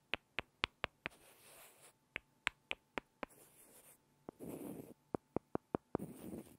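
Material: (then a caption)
Wood. Two small solid light-wood blocks are rubbed and tapped against each other by hand. Runs of five sharp, dry, bright clicks with almost no ring alternate with soft, hissy rubbing, and a single lighter tap sits between the runs.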